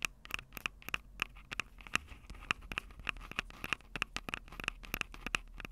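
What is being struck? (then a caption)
Small handheld audio recorder with metal-grilled microphone capsules. Long acrylic nails scratch and tap the metal-grilled microphone capsules of a Tascam DR-05 handheld recorder, a small, hollow, plastic-bodied unit. A rapid, irregular string of sharp, dry clicks and scrapes is heard, each with a bright ring near 2.6 kHz that cuts off almost instantly, over a faint low hiss.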